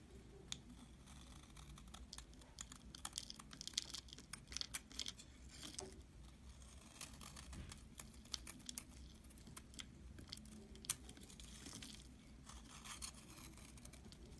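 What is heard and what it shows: A metal utility knife blade scrapes thin shavings off the top of a solid, hand-sized, rectangular white bar of soap with an embossed "dalan" logo, held in the palm. The repeated strokes make a dry, bright, crackly scraping with sharp little clicks over a steady low rumble.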